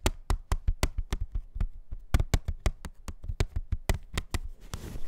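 A plastic CD jewel case is tapped in a quick, uneven rhythm of about nineteen short, dry taps. Each tap is a sharp click with a dull low thump and almost no ring, ending with a faint rustle.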